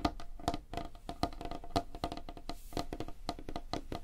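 Both hands tap rapidly with nails and fingertips on a large, flat, solid light-wood tabletop. The result is a quick, uneven stream of short, dry wooden knocks with a hollow tone near 290 Hz and a faint clicky top, each dying away almost instantly.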